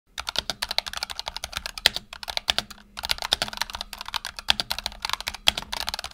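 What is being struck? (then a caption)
Mechanical keyboard with PBT plastic keycaps. Fingertips of both hands rapidly type on a black tenkeyless Razer Huntsman Tournament Edition mechanical keyboard with PBT plastic keycaps and optical switches, resting on a desk mat. The result is a fast, steady stream of crisp, bright, dry key clicks with almost no low end, broken by brief pauses around two and three seconds.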